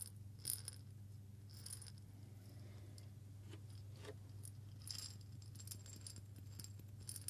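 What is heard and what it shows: A small hollow glass jar with a metal lid, partly filled with coffee beans, is rotated and shaken with the fingers. The beans rattle and tick against the glass in quiet, bright clicks, with a few louder bursts of rattling. A steady low hum runs underneath throughout.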